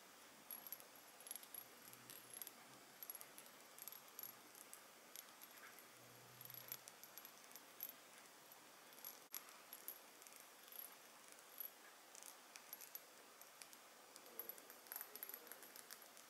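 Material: Glass.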